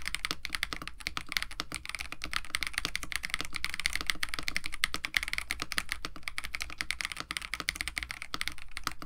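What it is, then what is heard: Mechanical keyboard with plastic keycaps. Continuous fast typing with both hands' fingertips on a compact 65% KBD67 Lite mechanical keyboard with a white case, blue and white PBT plastic keycaps, an FR4 plate and lubed Techno Violets switches. Dense, short, bright clacks with almost no ring rattle on steadily over a low background hum.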